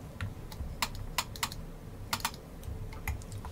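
Long nails tap and click on the hard plastic spinner wheel raised in the centre of a vintage 1960 Milton Bradley The Game of Life cardboard board laid flat, and on the board surface around it. The result is a scattered series of short, sharp, bright clicks with almost no ring, over a low, soft rumble.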